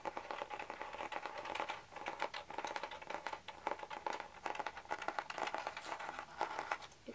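Fingertips tap and scratch the printed cardboard cover of a medium spiral-bound notebook decorated with a dragonfly. A continuous flurry of quick, dry, papery taps and scratches is heard, each click dying out almost at once. The sound is light and mid-pitched, with almost no low end.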